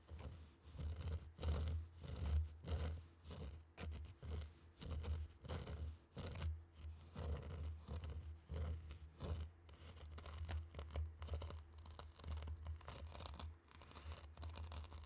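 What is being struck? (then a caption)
Tray of fine sand stirred with wooden sticks. Two round wooden sticks are plunged into and dragged through a tray of loose, dry, fine pink and orange sand. The grains scrape and swish in repeated gritty bursts over a steady low hum.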